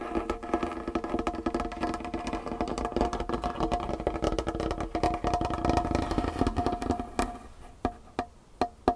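Long painted fingernails of both hands tap and scratch a large solid wooden tabletop with a dark varnished finish. Fast, dense tapping with scratching carries a steady woody tone around 700 Hz, with short, dry, quickly fading strikes. In the last couple of seconds the tapping thins out to a few sparse, separate clicks.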